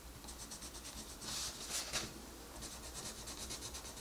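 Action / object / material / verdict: scrape / wooden colored pencil on a paper coloring book page / paper / none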